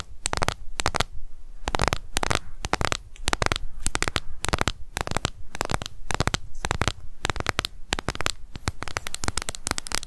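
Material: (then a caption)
Plastic. Long nails tap fast on the lid of a closed, small, hollow pink plastic cushion foundation compact. The result is dense bursts of sharp, clicky taps with a bright edge and a low hollow thump, separated by brief pauses.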